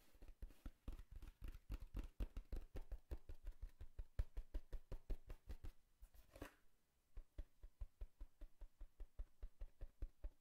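Fingertips and nails rapidly tap and knock on the top of a hollow brown corrugated cardboard box held at the lower right. The hits are short, dull and low-pitched, with a brief pause and one brighter, longer sound near the middle before the quick tapping resumes.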